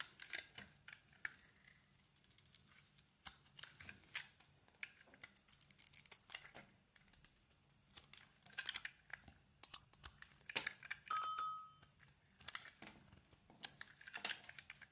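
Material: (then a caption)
Soap. A utility blade scrapes and carves shavings off the surface of a solid blue marbled soap bar held in the hand. The quiet, bright, crisp scraping and crackling comes in rapid bursts with a low steady hum beneath, and a short squeaky tone rings out near the eleven-second mark.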